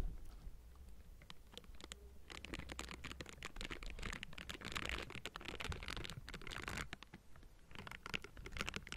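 Pink silicone bristle gloves rub and scratch across the hollow metal mesh grille of a Blue Yeti microphone. The result is a dense, crunchy scratching and crackling with bright, hissy texture over a steady low rumble. It is quieter and sparser for the first two seconds, builds to continuous scraping, dips briefly around seven seconds, then resumes.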